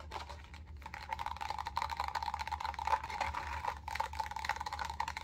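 A small, empty, clear plastic hotel cup is held upside down in the hands and rapidly tapped and scratched with long acrylic nails. The result is a dense stream of light, crisp clicks and scrapes with a steady ringing tone near 900 Hz, over a faint low hum.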